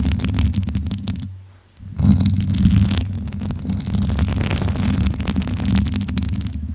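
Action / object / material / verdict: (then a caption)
scrape / metal mesh microphone grille / metal mesh / none. Long acrylic nails and fingertips rub and scratch over the hollow metal mesh grille of a bare pink microphone. Dense, low rumbling friction is layered with quick bright scratchy clicks, with a brief quiet pause partway through before the scratching resumes.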